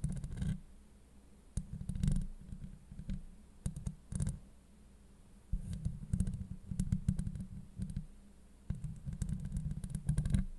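Long acrylic nail tips scratch across a hollow steel mesh microphone grille, producing bursts of dense, crackling scrapes and clicks. The sound is heavy and low, with a booming rumble near 190 Hz, and the scratching comes in clusters separated by quieter stretches.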